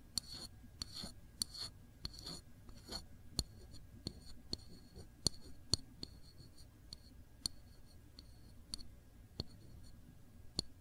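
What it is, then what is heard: Glass jam jar. A single long fingernail taps on the glass body and the label of a full cranberry jam jar held on its side. It makes a quiet series of sharp, bright clicks with a short glassy ping that dies away almost instantly. Softer scratchy brushing sounds fill the gaps between the taps.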